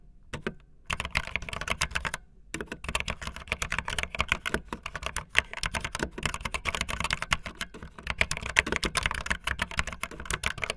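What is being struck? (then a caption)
Plastic mechanical keyboard keys. Fingertips with long nails type fast on a backlit optical linear mechanical keyboard with white and blue plastic keycaps. A dense stream of sharp, bright plastic clacks with a soft low thump under each keystroke is broken by two brief pauses near the start. Each tap dies away almost at once.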